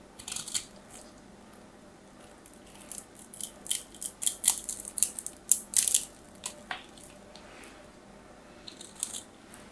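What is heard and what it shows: A small knife blade scrapes and carves a hand-held, hand-sized solid orange bar of soap with a crosshatch-scored surface, sending curls falling. Crisp, bright, dry scraping bursts come in uneven clusters, near the start, through the middle, and again near the end, with quiet gaps between them. There is almost no low end.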